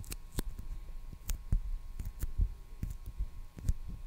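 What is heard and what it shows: Fingertips and nails tap and scratch the surface of a small roll of clear/beige plastic packing tape on a core, held in one hand close to the microphone. The result is a quiet series of soft, dull, low taps with short, dry thumps and faint bright scratchy ticks that die away almost instantly.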